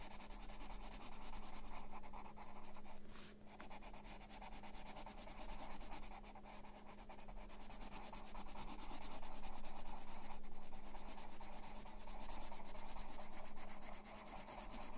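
A dark graphite or colored pencil held in the fingers shades a printed coloring-book page bearing an ink drawing of a house, lying flat on a desk. It rubs and scratches across the paper in short, rapid strokes, producing a quiet, continuous, papery scratching texture with a steady low hum underneath. The strokes swell slightly louder toward the end before easing off.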